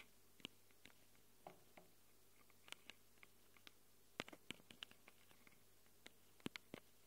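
Long glitter nails scratch the metal mic capsule rings of a small black handheld Tascam recorder. Quiet, irregular, sharp scratchy clicks with bright, crisp edges sound over a low, steady background hum, each one dying out almost instantly.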